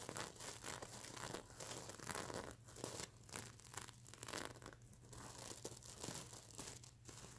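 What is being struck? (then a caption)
Plastic sequins on a plush pillow. Long nails scratch and flip the plastic sequins on a stuffed mermaid unicorn pillow. The result is a steady run of crinkly, crackling scratches and bright rustling flicks, with a faint low hum underneath throughout.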